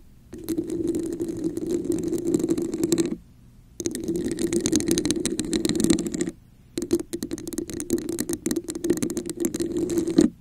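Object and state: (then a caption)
Textured plastic cup. Long acrylic nails rapidly tap and scratch the raised scale-like diamond texture of a red, hollow plastic cup set upside down over a microphone. The result is a dense, crackly rattle with a hollow, boxy resonance around 300 Hz and a faint bright hiss. It comes in three bursts separated by brief silences.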